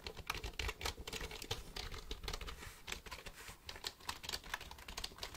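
A black plastic computer keyboard is held near the microphone while fingertips tap its keys. The result is a quick, uneven stream of short, dry clicks with bright high tops and a soft low thump beneath each press.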